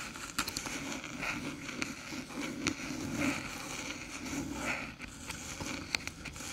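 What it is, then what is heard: Aluminium USB hub tapped and scratched with nails. Long silver nails tap and scratch the top panel of a small, flat, hollow silver aluminium USB hub branded HooToo resting on a dark table. Sharp, bright metallic taps punctuate a continuous papery scratching with a high, thin ring.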